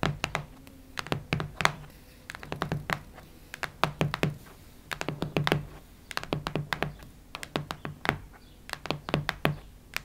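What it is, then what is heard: Hardcover notebook. Long nails tap, knock and scratch on the cardboard cover of a cactus-print hardcover notebook. Quick, dry clicks come in uneven bursts, with a soft, steady low hum underneath.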